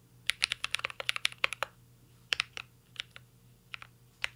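A mint-green Cyberboard R3 mechanical keyboard with a metal case and plastic keycaps is typed on with the fingertips. About twenty sharp, bright, clacky keystrokes come in a quick flurry, then sparser taps after a short pause. Each key hit is crisp and dies away almost instantly.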